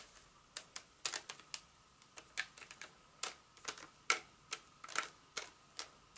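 A flat, solid, roughly hand-sized Hershey's milk chocolate bar in its paper wrapper with foil inside, held in one hand, is tapped and scratched with very long acrylic nails. About twenty short, crisp, bright clicks come at an uneven pace, each dying away almost at once, over a faint steady tone near 1.3 kHz.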